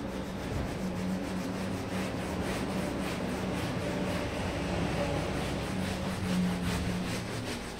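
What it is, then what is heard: Wool pile rug being scrubbed. A small red patterned wool pile rug, soaked and foamy on a tile floor, is scrubbed back and forth with a red plastic hand brush while a gloved hand holds it down. The sound is a steady, continuous wet rubbing and swishing with repeated brush strokes over a low background hum, and it keeps a fairly even level for the whole clip.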